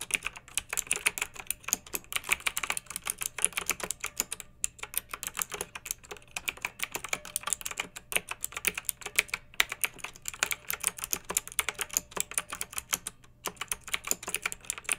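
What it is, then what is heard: Plastic mechanical keyboard. A pink backlit plastic mechanical keyboard with round typewriter-style plastic keycaps, resting on a fluffy rug, is typed on steadily by both hands using long nails and fingertips. Rapid, bright plastic clicks and clacks with very short decay run continuously, with a few brief pauses between bursts and a faint low hum underneath.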